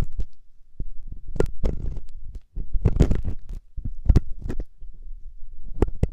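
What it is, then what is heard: Silicone ear scratched with metal ear pick. A metal loop ear pick held by fingertips scratches inside the ear canal of a soft, solid silicone ear on a 3Dio binaural microphone. The sound is a close, muffled run of deep thumps and rumbling scrapes, mostly low and boomy. Sharp brighter scratches flash through it in short bursts.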